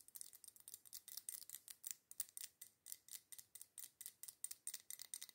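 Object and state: Glass candle jar tapped and scratched with nails.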